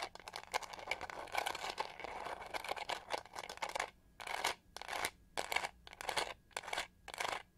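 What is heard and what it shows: Long nails scratch the pyramid-textured, pink-gold plastic back of a detangling hair brush held in both hands. A dense, continuous, crisp scratching with bright high-frequency hiss gives way to short, separate bursts of scratching strokes.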